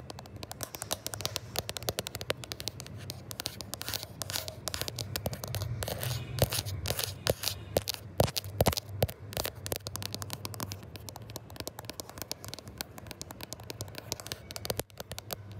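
Fingertips and short nails tap and scratch quickly, but not aggressively, over the camera lenses and matte glass back of a gold iPhone 11 Pro, the small, solid phone that is also doing the recording. The result is a dense, continuous stream of close, crisp clicks and bright scratchy rasps over a low thumping rumble from the handling.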